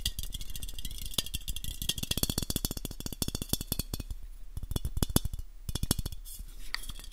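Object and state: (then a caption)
Aluminium aerosol can. Fingertips and nails tap rapidly on a hand-sized black aluminium aerosol can with a purple and white label, held close to a microphone; the can is hollow and its fullness is unknown. Dozens of quick taps give short, dull, low thuds mixed with bright clicky nail ticks that stop almost instantly, with no ringing.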